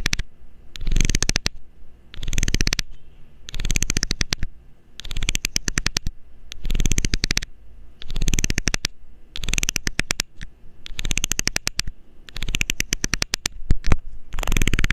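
A metal needle scrapes along the ridged edge of a loose, hollow blue plastic screw cap in repeated bursts about a second long, separated by short pauses. Each pass is a rapid train of tiny clicks over the ridges, layered with bright scratchy hiss and a low, close-up rumble.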